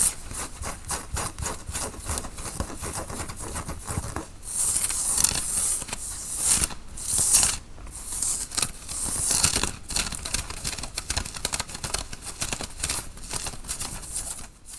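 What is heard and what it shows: Fingernails scratch and rub a worn grey tie-dye cotton t-shirt at the front and shoulders, making a fast, steady run of dry, bright scratching strokes. Louder, fuller rubbing swells break in around the middle of the clip before the light scratching settles back in.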